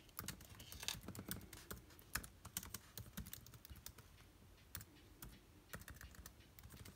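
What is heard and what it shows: Both hands, wearing rings, type rapidly with their fingertips on a MacBook Air-style laptop keyboard with backlit black plastic keys set in a silver aluminium body. The result is a quick, uneven stream of short, dry clicking key taps with bright tops and a soft low thump, each dying away almost instantly, with a few brief pauses between bursts.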